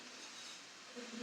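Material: Nothing is struck.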